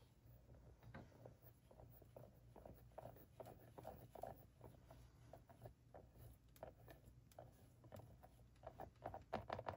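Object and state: Plastic mannequin face tapped and scratched.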